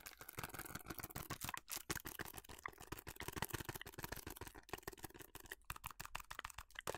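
A small printed paperboard box of Club House food colour, held in both hands, is tapped and scratched with long matte nails. A rapid, dense run of short, dry clicks and taps mixes with brief scratchy rustles, with quiet gaps between bursts. The hits are crisp and die away almost instantly, with no ring.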